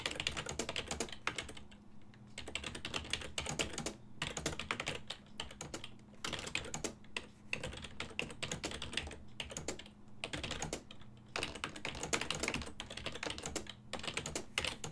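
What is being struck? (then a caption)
Plastic computer keyboard. Fingertips of both hands type on a full-size black and silver plastic desktop keyboard with keys on a hollow body. Rapid, bright, clicky keystrokes come in bursts separated by brief pauses, over a faint steady low hum. Each tap is short and dry, with almost no ring.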